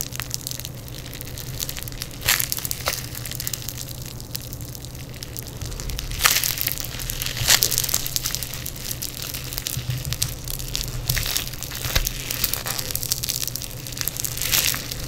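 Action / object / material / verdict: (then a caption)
scrape / foam bead clay / foam beads / none. Yellow foam bead clay is pulled, folded and crushed by fingers in black nitrile gloves on a table mat. Dense, bright crackling and crunching runs throughout, with sharper louder pops standing out at moments, over a steady low hum.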